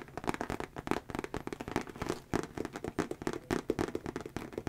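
Fingertips and nails rapidly tap and scratch the outer surface of a medium-sized brown Nine West monogram handbag, which is structured and hollow and held upright close to the microphone. The result is a dense run of short, dull taps with soft, papery scratching between them.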